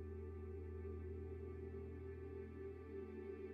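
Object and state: Nothing is struck.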